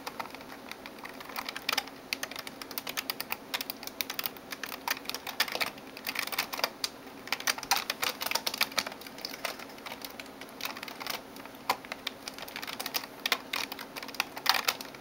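Long nails type and tap quickly on the plastic keys of a backlit gaming keyboard. Rapid, irregular bursts of short, bright clicks and clacks come in uneven clusters, each tap dying away almost instantly, with almost no low end beneath them.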